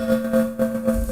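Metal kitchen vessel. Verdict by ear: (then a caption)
Full. A metal kitchen vessel filled with water is knocked with a spoon, giving a ringing, bowl-like tone near 227 Hz with a steady higher overtone. The knocks sustain a continuous hum that sets ripples moving in the water, and the tone differs from that of the same vessel when empty.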